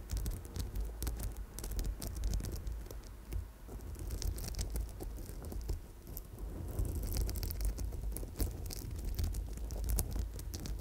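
An amethyst chip bracelet with a gold wire center is held against the microphone while long nails tap and scratch rapidly over the purple stone chips. The result is a dense, continuous patter of quick, crisp clicks and scratchy rustles over a heavy low, close-up rumble, with bright ticks scattered throughout.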